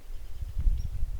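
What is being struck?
Nothing is struck.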